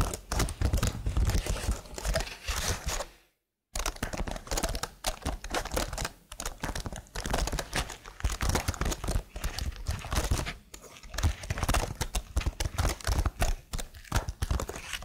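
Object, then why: Plastic computer keyboard. Long blue nails type and tap on the keys of a slim, hollow black plastic keyboard with patterned keys. The result is a dense, steady stream of quick, dull clicks and clacks with a low, hollow body and short ring, broken by a brief silence just after three seconds.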